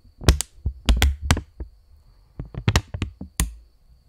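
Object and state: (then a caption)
Polymer plastic banknote. A purple £20 polymer plastic banknote, held stretched between both hands, is tapped with fingertips and snapped taut. About nine quick, crisp snaps and taps sound in two clusters separated by a quiet pause, each with a dull low thump and a bright papery crackle that dies away almost instantly. A faint, steady high whine runs underneath.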